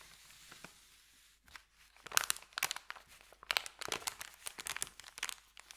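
Fingertips rub a thin, empty, creased white paper sandwich bag, then start rolling its end. A soft, faint rustle with a few light ticks gives way after about two seconds to dense bursts of sharp, bright crinkling with no low end.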